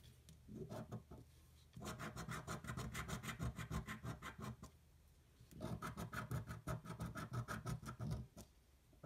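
A coin held in one hand scratches the latex coating off a single thin paper scratch-off lottery ticket pinned down by the fingers of the other hand, while other tickets lie untouched to the sides. After a few soft opening strokes, two long bursts of quick, rhythmic rasping scrapes follow, separated by a brief pause, each a dry, gritty rub that stays fairly low and muffled.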